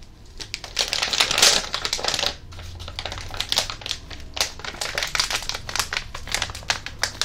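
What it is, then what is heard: Crinkled plastic foil candy packet. A flat plastic foil popping candy packet is crinkled and handled with the fingers. It gives dense, bright crackling and snapping, loudest in a burst near the start and then steadier to the end. Energy sits mostly high, with a faint low hum underneath.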